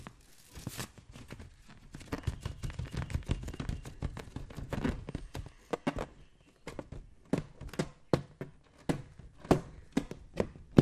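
A green latex balloon filled with liquid is held in one hand while the fingers of the other tap and scratch its surface. Soft, low thuds mix with dry scratchy rubs, and the fingertip hits come as short, separate taps with almost no ring. Close and quiet, with a denser patch of rubbing and sloshing texture in the middle.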